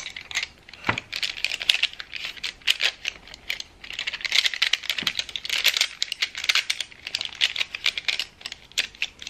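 A handful of loose wooden colored pencils with a painted finish is held in both hands over a wooden tray, with the pencil box set aside in the tray, as fingertips and nails shuffle and jostle them. The pencils clack against each other in a steady stream of short, dry, bright clicks. The clatter has no low-end weight and no ring.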